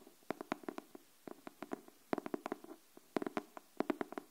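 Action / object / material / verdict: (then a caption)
tap / cardboard hardcover notebook tapped with fingernails / cardboard / none. Long nails tap the cover of a pink cardboard hardcover paper notebook held upright, making 21 short, dry knocks in loose clusters. Each tap is a soft, hollow click with a low-mid body and a bright edge, dying away almost instantly between quiet gaps.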